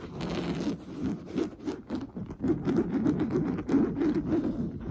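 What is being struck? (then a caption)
Coarse-weave fabric sofa cushion. Fingernails scratch and rub fast across an orange coarse-weave fabric sofa cushion. The result is a dry, rough, continuous scraping texture in irregular swells, with its energy concentrated in the low-mids and little high-end brightness.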